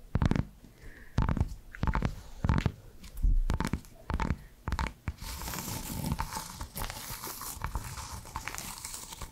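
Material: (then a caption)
Cork. Long black nails tap on a small, flat, square cork coaster that is thin and solid and has a barcode sticker, producing dull, bass-heavy knocks with short pauses between them. About halfway through, the nails start scratching across the surface, giving a steady, bright, hissy rasp until the end.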